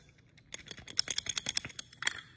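A wooden puzzle box block is shaken with its loose frame locked to the other wooden pieces, producing about a dozen quick, dry, high-pitched clicking rattles. The rattle reveals a loose piece moving inside the block's wooden pieces, distinct from the frame's own rattle.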